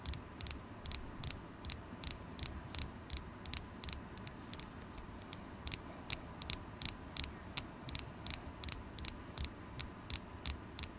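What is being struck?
Polished carnelian stone point.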